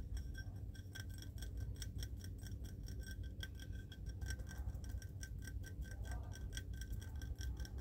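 A small, hollow, ribbed cut-glass vase that appears empty is held in both hands outdoors under an umbrella and tapped and scratched with fingertips and nails. The result is a steady stream of quick, light clinks with short, bright glassy ringing over a constant low rumble, with rain possibly audible in the background.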